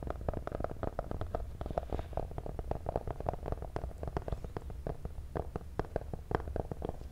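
A small, hollow, black printed cardboard box for a cable is held close to the mic and tapped with medium-length pink-painted fingernails. The result is a rapid, steady run of dry, hollow taps with a deep, boomy low end and almost no ring.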